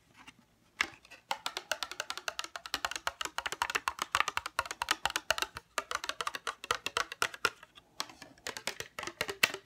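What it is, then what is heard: Plastic case. A small, hollow navy-blue plastic case is turned over in the hands and tapped with fingernails on its base and sides. The result is a rapid, uneven stream of dry, bright clicks, each dying away almost instantly, with a hollow tone around 2.7 kHz and no low end. Several brief pauses break up the tapping.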